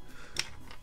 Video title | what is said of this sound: Old PC Acquisitions - 12/5/15 | it's in here and just kind of like rattles around